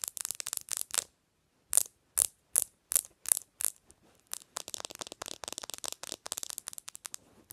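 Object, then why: Glass-screen smartphone. Long nails tap and click quickly along the glass screen and edges of a bare black smartphone held upright on a pillow. Bright, dry clicks come in fast bursts, pause briefly, return in evenly spaced clusters, and then settle into a steady stream of rapid tapping.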